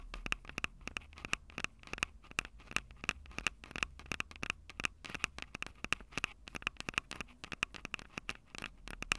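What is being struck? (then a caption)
Handheld recorder with metal-grilled microphone capsules. Long acrylic nails scratch and tap the metal-grilled mic capsules of a Tascam DR-05 handheld audio recorder, a small, hollow plastic-bodied unit. Quick, dry clicks and taps with almost no ring form a steady rapid patter over faint scratching. The sound is bright, with a tone near 2.6 kHz.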